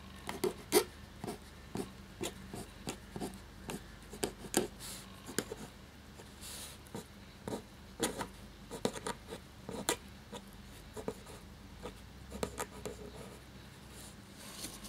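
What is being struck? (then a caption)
Quill nib on parchment paper sheet. The black nib of a feather quill writes on a thin cream parchment-style paper sheet lying flat on a table, with fingertips holding the sheet. The result is a steady run of short, dry, bright scratches and strokes with quick decays, over a faint low background hum.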